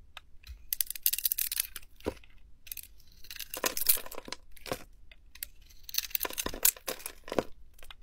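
A hand-sized solid bar of green soap with a glittery magenta coating is held in a palm while a metal blade with a white handle shaves and scrapes the coating off. Crisp, bright cutting and scraping strokes come in bursts, with short quiet gaps between them.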